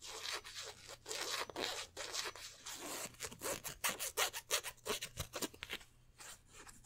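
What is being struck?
Polyester jersey fabric with stitched twill numbers.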